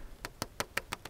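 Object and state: Full plastic water pipe.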